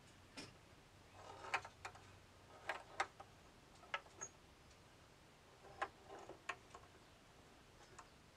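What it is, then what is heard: Steel ball in a bamboo tilt maze. A steel ball rolls across the wooden board of a hand-tilted bamboo labyrinth maze, with a soft rolling rumble between ticks. It strikes the walls in about ten short, sharp clicks, some close together in pairs, each dying away almost at once.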